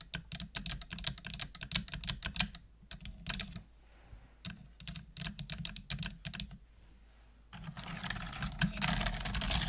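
Long nails type on a full-size black plastic computer keyboard with hollow plastic keys, making bright, sharp clicks and clacks in quick, uneven bursts with short pauses. A steady low hum runs underneath, and the typing ends in a denser, faster clatter.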